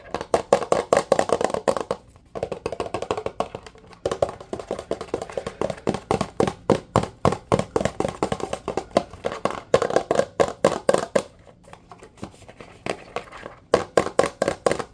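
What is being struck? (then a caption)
Plastic dish soap bottle. A blue plastic Dawn dish soap bottle with a label, hollow and apparently partly full, is tapped quickly with fingertips and nails. Fast, dry, hollow taps with a midrange knock around 480 Hz come in rapid bursts separated by short pauses. Each tap dies away almost instantly.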